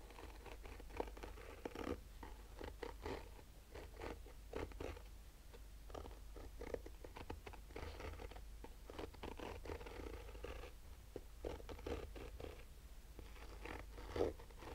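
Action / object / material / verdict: scrape / fabric-covered hard-shell sunglasses case / nylon fabric / none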